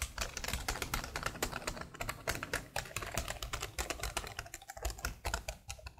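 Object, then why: Plastic laptop keyboard. Long blue nails and fingertips type rapidly on the keys of a black plastic laptop keyboard, producing a dense run of quick, bright clicks and clacks over a soft low thump. The taps are short with almost no ring, blending into a continuous, uneven patter.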